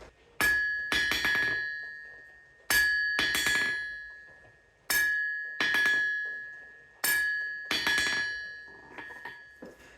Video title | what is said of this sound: Qu'est-ce que le Chant de l'Enclume ? Explication - Analyse - Démonstration | juste le fait de poser le marteau sur l'enclume ça crée des petits rebonds